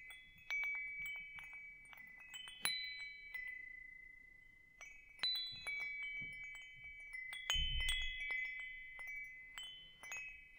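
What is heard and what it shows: A hanging wind chime with hollow metal tubes is held by its hook while fingers tap the tubes, setting off bright, bell-like tones. Steady sustained notes around 2 kHz overlap with high shimmering overtones, each strike swelling and slowly fading. A soft low rumble rises briefly near the eight-second mark.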